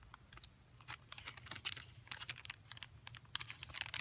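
A flat, thin pack of paper collage pieces sealed in a clear plastic sleeve is held in both hands and turned over while fingertips rub and crinkle the plastic wrapping. Quiet, bright crinkling and sharp crackles come in quick bursts, each snapping off with no ring. The crackles grow louder and denser toward the end.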